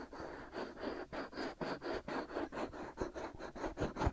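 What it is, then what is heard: Silicone microphone ears being scratched. Fingertips with short nails scratch the outer surfaces of the soft, white silicone ears on a binaural microphone. A steady run of quick, rhythmic strokes gives a dense, gritty mid-range rasp, with occasional dull low bumps from the contact.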